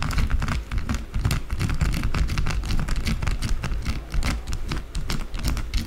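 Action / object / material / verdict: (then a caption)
scrape / solid bar of soap / soap / none. Long blue acrylic nails scratch fast across a small, solid white bar of soap. The result is a continuous, dense stream of quick scratches and crisp clicks over a heavy low rumble, with no pauses.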